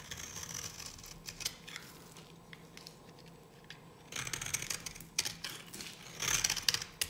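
A solid, dry pink bar of soap held in the hand is shaved into flakes with a metal blade. The result is a run of crisp, bright scraping and cutting strokes that grow quieter in the middle, then return in louder, denser bursts toward the end.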